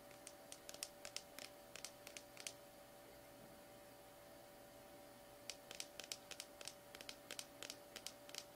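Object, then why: Small plastic slime tub. A small plastic slime tub is held in the hands while painted nails tap rapidly on its labeled side, making sharp, bright, typing-like clicks. The taps come in two quick bursts separated by a few seconds of quiet, over a faint steady hum.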